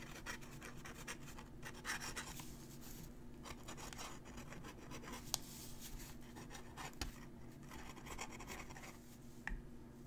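A metal-nib dip pen held in the fingers scratches across a thin, crumpled, aged-looking sheet of writing paper lying flat while writing cursive. Quiet, bright scratching strokes come in bursts over a steady low hum, with a few sharp ticks where the nib catches or lifts.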